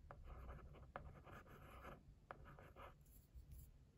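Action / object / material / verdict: scrape / cardboard box / cardboard / none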